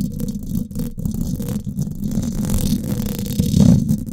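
Long acrylic nails scratch and tap the hollow domed steel mesh grille of a Blue Yeti microphone. The result is a dense, continuous, low, rumbling scrape with faint bright texture on top. It swells into a louder thump-like burst near the end.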